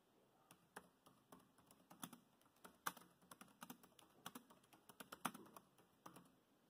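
Fingertips of both hands type on a dark grey plastic laptop keyboard, producing about 23 quiet, short key clicks at an uneven pace. Each tap is a dry, brief plastic click with a soft low thud and a bright edge, and a few harder strokes stand out.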